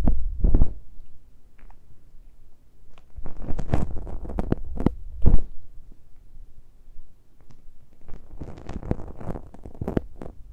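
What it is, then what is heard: Metal mesh microphone grille scratched by fingertips. Fingertips and nails of both hands gently scratch and touch the metal mesh grilles of a small X-Y pair of microphone capsules on top of a handheld Tascam recorder, with no cover. Heavy low thumps and rumbling bursts come at irregular intervals, overlaid with short, dry scratchy streaks that reach high.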